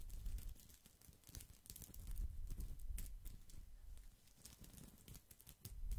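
A round woven straw basket held close to the microphone has its hollow woven surface scratched and rubbed with fingertips and nails. The result is dry, crinkly crackling with quick bright scratchy ticks over a soft, low thumping rumble, coming in irregular bursts at a quiet level.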